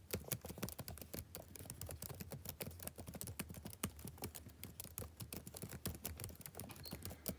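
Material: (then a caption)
Plastic. Fingertips type rapid taps on the backlit plastic keys of a laptop keyboard. The result is a quiet, steady stream of dozens of short, dry clicks with a soft low thump beneath them and bright ticks on top, each dying away almost instantly.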